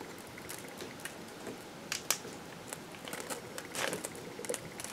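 A metal knife scrapes and carves the surface of a solid green bar of soap held in the hand, cutting off crumbly shavings. Soft, bright, crackly scraping runs throughout, broken by short crisp ticks and a few sharper scrapes, with almost no low end.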